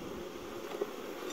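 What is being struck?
Nothing is struck.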